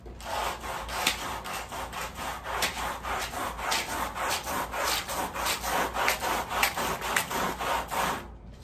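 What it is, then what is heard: Woven fabric rug being scrubbed. A long-handled white push brush with stiff bristles is scrubbed back and forth across the back of a large, flat woven fabric rug, which lies face down on plastic sheeting and is covered in wet, soapy foam. The strokes make fast, rhythmic, bright rasping swishes, roughly three to four per second, that hold steady for about eight seconds before stopping.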